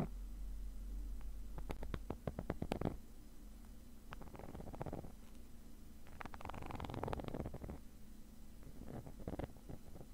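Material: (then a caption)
Nylon. A thin metal pick tip scratches across the textured surface of a black woven nylon zippered case that is padded and hollow. Quick, dry scratching strokes come in short bursts over a steady low hum. The scratches give a crisp, papery rasp that fades almost instantly after each stroke.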